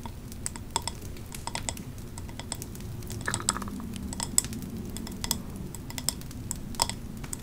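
Long nails tap on the glass side of a large, hand-held 3-wick candle jar printed with autumn leaves, filled with wax and topped with a metal lid. Quick, irregular clicks with a bright ring rise over a steady low rumble, each dying away almost instantly.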